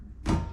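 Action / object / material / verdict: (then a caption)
knock / stainless steel skid plate / stainless steel / solid. A stainless steel skid plate for the 2026 Honda Passport Trailsport is knocked once in a test against an aluminum plate of similar thickness. The knock gives a low, dull thunk centered around 82 Hz that dies away quickly. The stainless steel plate sounds solid, heavier but stronger than the aluminum one.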